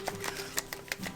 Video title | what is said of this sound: How to add snow to a wreath - DIY wood flower tutorial | you can hear a little metal ball rolling around you want to hear that